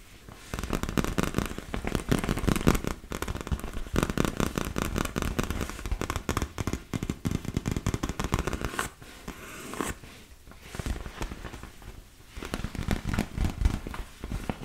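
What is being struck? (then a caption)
Inflated vinyl beach ball. Long nails rapidly tap and scratch a large, hollow, inflated yellow and blue PVC vinyl beach ball, making a dense, crackling stream of dull, low, hollow thumps with papery scratches. The tapping softens and thins out around the middle, then picks up again toward the end.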